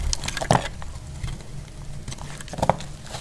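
A solid, dry yellow soap bar held in the hand is shaved into strips with a metal utility blade. Short, dry scraping and crackling strokes stand out, with the strongest bursts near the start and end. A low, steady rumble runs underneath throughout.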